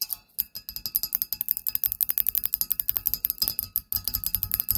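Long nails tap quickly across a black wrought-metal, spider-shaped tealight holder, striking its hollow cup body and wire legs. The result is a rapid series of about three dozen short, bright, tinny clicks and clinks, each dying away almost instantly, with a brief pause near the start and another just before the end.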